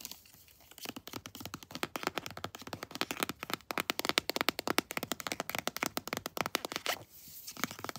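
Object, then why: Plastic squeeze tube of lotion. A pink floral "Sweet Pea" plastic squeeze tube of body lotion, hollow-sounding and apparently filled, is tapped and scratched with long blue-painted nails. Rapid, dense clicks and crisp scratches with a bright, dry texture run almost continuously, with short quieter pauses near the start and around seven seconds.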